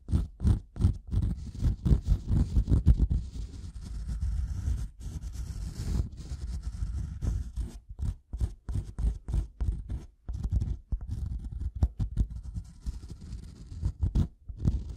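A solid, light-colored wooden block is tapped and scratched on its top surface with the metal prongs of a pink-handled tool. Close, dull low-pitched taps mix with scraping and scratching strokes. The sound comes in rapid uneven bursts with brief pauses, and there is almost no ring after each contact.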